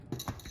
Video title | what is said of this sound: Step by step Irish soda bread | Tapping on the bottom of bread. If it sounds hollow, good.